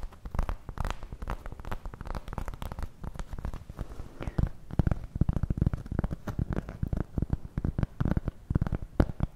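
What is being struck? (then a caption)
Round cork board. Long nails scratch and tap rapidly across the surface of a large, round, flat, solid cork board coaster held in both hands. The result is a dense run of dry, muffled clicks and scrapes, weighted heavily toward low tones, with each tap dying away almost instantly.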